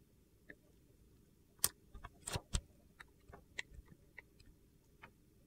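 A metal box-cutter blade scrapes and slices thin curls off a solid, hand-sized, rectangular purple-and-white marbled soap bar held in one hand. Quiet, irregular, short, crisp scraping ticks with bright, gritty edges sound over a low background hush, with a denser crunchy scrape in the middle.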